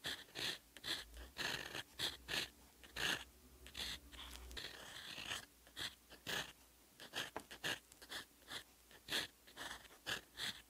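A fine steel fountain pen nib writes Korean characters in teal ink on a lined paper notebook page, close up. Quick, bright scratching strokes come in short bursts with brief pauses, and a faint low hum sits under the first few seconds.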